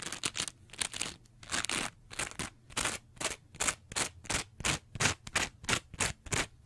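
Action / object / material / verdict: scrape / foam sponge / foam / none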